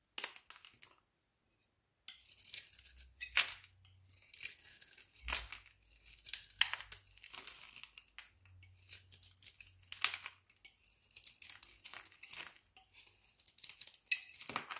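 A metal knife blade scrapes the surface of a solid dark brown stamped soap bar held in the palm, shaving it into curly strips. Quick, bright, dry rasping strokes follow one another rapidly, with crisp crinkling and tearing textures, after a brief near-silent pause early on.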